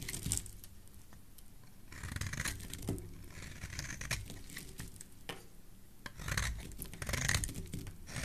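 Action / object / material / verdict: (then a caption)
scrape / bar of soap shaved with a metal blade / soap / none. A metal blade shaves the edge of a rectangular, solid yellow bar of soap held in the hand. It makes bursts of dry, crisp scraping and tearing with a bright, gritty top end over a low, muffled rumble. Quieter gaps fall between the louder strokes.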